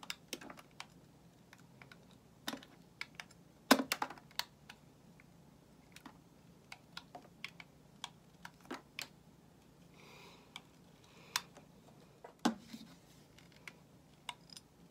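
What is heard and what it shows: A metal utility knife blade shaves a solid white bar of soap held in the hand, producing around 25 short, crisp scraping clicks at irregular intervals over a low steady hum. Each cut is bright and dry with almost no ring, and a soft, brief rasp is heard midway through.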